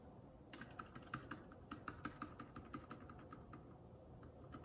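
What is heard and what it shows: A single index fingertip presses individual keys and the spacebar one at a time on a Keycool K84 75% mechanical keyboard with plastic keycaps. Sharp, short clacks arrive at an uneven pace over a faint steady hiss, each with a brief mid-pitched ring.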